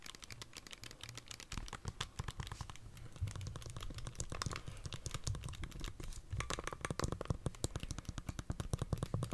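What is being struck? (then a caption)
Plastic handheld game console with glass screen. Long dark-painted nails tap and press the buttons of a handheld Nintendo Switch held in both hands, its hollow plastic body with glass screen and red and blue Joy-Con controllers attached. A rapid, steady stream of short, dry clicks and taps comes with a low hollow thump beneath each one and no ring after, growing a little busier and louder toward the end.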